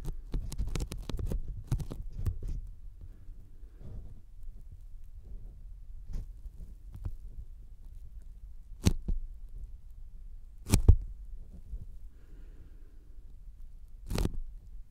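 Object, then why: Thin polyethylene foam sheet. Fingertips, sticky, tap slowly on a thin white closed-cell polyethylene foam sheet lying flat in front of the microphones. The taps sound like soft, muffled low thumps with almost no ring, clustered quickly at first and then spaced out. A few crisper, bright clicks stand out near the end.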